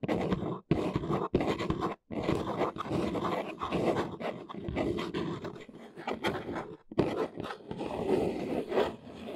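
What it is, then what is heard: Cardboard box scratched. Long nails scratch the top edge and front face of a large, hollow brown corrugated cardboard box. Dry, papery scraping comes in short bursts broken by brief silences early on, then runs almost continuously. Its rough texture sits mostly in the low and middle range, with a faint hollow body.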